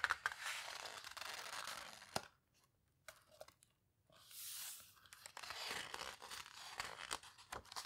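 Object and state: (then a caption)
Paper photo book, pages flipped and squeezed. Pages of an open paper photo book are flipped and their edges squeezed by long-nailed fingers. Bright, papery rustling and crinkling swells and fades, with a sharp snap just after two seconds. A near-silent pause broken by a few small ticks follows before the rustling resumes.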